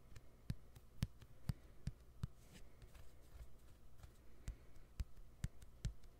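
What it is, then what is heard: Smartphone plastic back cover. Fingernails tap the white plastic back cover of a smartphone held sideways, producing a series of soft, dull, low-pitched clicks. Each tap is brief with almost no ring, separated by quiet pauses.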